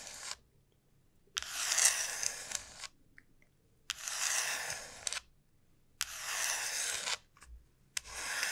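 Long nails slowly scratch the rough surface of a large, hollow dried gourd shell, making bright, dry scraping strokes. Each stroke lasts about a second with short quiet pauses between them, and faint clicks land in the gaps.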